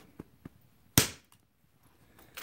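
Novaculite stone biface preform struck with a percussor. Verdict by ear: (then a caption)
Crushed. A percussor strikes the platform of a novaculite stone biface preform: two light taps, then a loud, sharp snap with a short ring. The snap is the unprepared platform crushing and breaking, so no good flake comes off.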